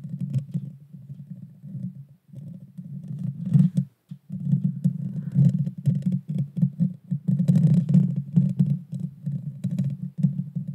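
Long dark fingernails scratch and tap the hollow metal mesh grille of a Blue Yeti Nano microphone, making a dense, boomy rumble of rapid scrapes and taps concentrated in the low range, with faint brighter crackles on top. The scratching runs almost continuously, dropping out briefly near the four-second mark before resuming just as heavily.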